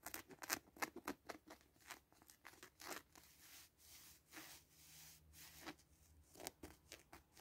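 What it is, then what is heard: Plush fabric cushion scratched. Fingertips and short nails scratch the felt heart patch and 'Me to You' label area of a small, soft, stuffed pink fleece cushion with a grey teddy appliqué. Quick, bright, dry scratching strokes come in bursts at the start and end, with softer, smoother rubbing in the middle. The sound is quiet and crisp, with almost no low end and no ring after each stroke.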